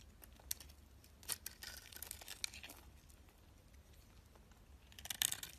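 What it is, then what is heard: Soap bar being shaved. A box-cutter blade shaves white flakes off the flat face of a solid oval white soap bar with a green outer coating, held in the hand. Quiet, bright, crisp scraping and crackling runs throughout, with sharp ticks where the blade bites, and the cutting grows busier and louder near the end.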